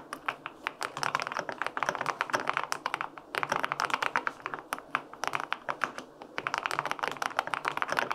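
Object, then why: Aluminum-cased mechanical keyboard with plastic keycaps. Fingertips type on the plastic keycaps of a white-pink full-aluminum 65% mechanical keyboard with linear switches. Quick, crisp, short clacks come in bursts with brief pauses, with a bright, dry tone and almost no low end.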